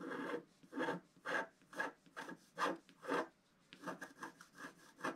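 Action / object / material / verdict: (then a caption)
scrape / scratch art paper sheet scratched with a wooden stylus / coated paper / none. A wooden stylus scratches a flat scratch art paper sheet with a black coating, working near a pink flower and figure. Twelve soft, dry rasping strokes are heard, slower and evenly spaced at first, then quicker and shorter toward the end. Each scrape is a brief papery hiss centered in the mids around 1 kHz, with little low end and almost no ring.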